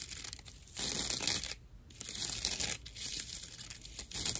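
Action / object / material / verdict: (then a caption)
scrape / dry natural loofah pad / plant fibre / none. A dry natural loofah pad of fibrous plant material is held flat in one hand and scratched with long nails. The result is rough, bright, crinkly scratching in several bursts, separated by brief quieter pauses.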